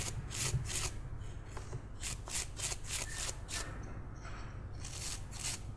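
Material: Wood.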